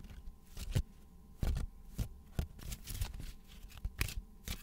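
A small, solid deck of thin coated paper playing cards with a VidCon logo is shuffled and bent with bare fingers over a wooden desk, so the card edges flick and slide against each other. Crisp, papery flicks and brief riffling bursts repeat at an uneven pace, with soft sliding rustles between them. A faint steady tone runs in the background.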